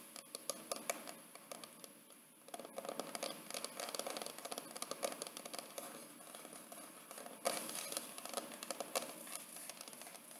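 Long painted fingernails of both hands tap and scratch the pale, paper-covered hard board cover of a large square wedding photo album with a small framed photo window, held on a lap. Rapid, dry, light clicks and papery scratching run throughout, bright with almost no low end, with a few sharper taps standing out near the middle and end.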